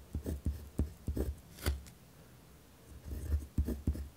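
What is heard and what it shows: A pen tip scratches across a white lined paper pad resting on a wooden desk while writing. The sound comes as short, dull, low scratchy strokes with faint bright edges, with a quiet pause in the middle before the strokes resume.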